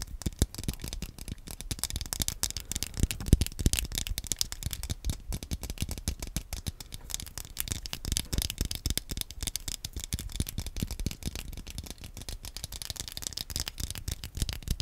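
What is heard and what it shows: Fingernails tap and click on the shell and buttons of a small, hollow, black plastic Wii nunchuk held upright in front of the microphone. The result is a dense, continuous patter of short, dry clicks with no ringing, carrying a soft low thump under brighter ticks for the full length.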